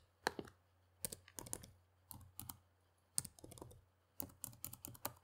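Fingertips type on the keys of a black plastic laptop keyboard in short, quiet bursts of crisp, bright clicks separated by brief pauses. Each keystroke is dry with almost no ring, over a faint steady low hum.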